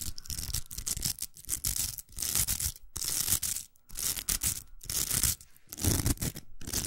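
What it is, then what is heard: Plastic velcro hair roller. Long nails scratch the hooks of a large, hollow, pink plastic velcro hair roller held in the hand. The result is uneven bursts of bright, raspy crackling over low hollow thumps, with short pauses between strokes.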